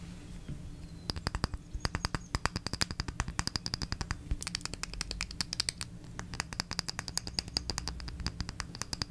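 A small red glass jar candle, lit and filled with wax, is held in one hand and tapped with long red acrylic nails. After a quiet second, a long run of quick, sharp clicks begins, bright with a faint high glassy ping and very short decay. A steady low hum sits underneath throughout.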